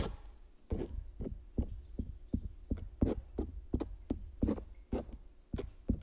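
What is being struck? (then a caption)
Metal palette knife on coated stretched canvas. A metal palette knife scrapes and scratches across the surface of a large stretched canvas print coated with clear medium. About sixteen short, separate strokes are heard at an uneven pace, each a dull low thump with a brief brushing hiss. The strokes sit over a faint steady hum.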